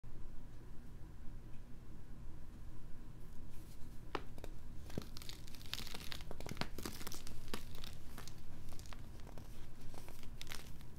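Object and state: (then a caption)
Crushed baking soda heart. A small, solid heart of pink-dyed pressed baking soda, one of many laid out on a green mat, is crushed and crumbled between the fingertips and thumbs of both hands into powdery chunks. After a few seconds of a steady low hum, dry crackling and crunching bursts with bright, gritty edges come in and continue to the end.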